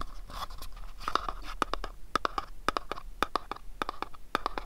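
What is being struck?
Small printed cardboard pyramid box.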